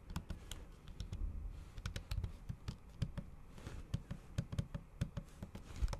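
Long acrylic nail tips type fast, repeated taps on a MacBook keyboard covered by a thin pink patterned plastic/silicone cover over solid keys. The taps are short, dull clicks with a soft low thud, each dying away almost instantly, over a faint low background rumble.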